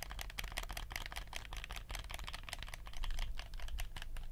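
Fingertips click the buttons and tap the surface of a black hollow plastic PlayStation 4 DualShock controller held in both hands. A quick, uneven run of sharp, bright plastic clicks and light taps is heard over a steady low hum, with each click dying away quickly.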